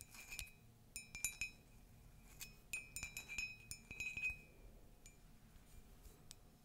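Light taps on a ceramic Disney mug make a series of bright, glassy clinks with short ringing tones, some close together and some spaced apart. A faint low hum sits underneath.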